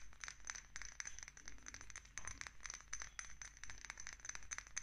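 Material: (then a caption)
Glass. Long nails tap quickly on a small dark amber glass dropper bottle with a green paper label and a black dropper cap. The result is a rapid, uneven stream of sharp clicks and clinks with a bright, high glassy ring that dies away almost instantly, over a faint low hum.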